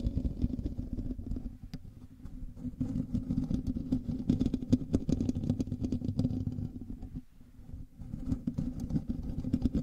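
Fingernails of both hands scratch the hollow metal mesh grille of a black microphone, producing a dense, continuous rasping that is heavy in the low and low-mid range with a steady hum-like tone around 250 Hz. Fine scratchy clicks speckle the texture throughout, and the scratching briefly softens near 1.5 and 7.3 seconds before resuming at full strength.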